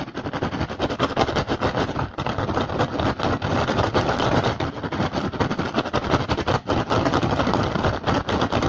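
Fingertips and short nails of both hands tap and scratch fast and hard on an upturned, hollow, empty woven rattan basket. The result is a dense, continuous stream of dry, woody clicks and scraping rustle with a low hollow thump underneath. The taps blur together at a steady loud level, with only brief dips.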